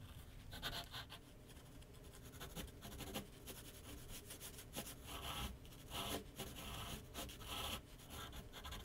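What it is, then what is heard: Pencil sketching on paper over a board. A graphite pencil sketches lines across a large white paper sheet mounted on a flat board on an easel. The result is a steady, soft scratching and rubbing with bright, airy strokes that swell and fade over a low rumble.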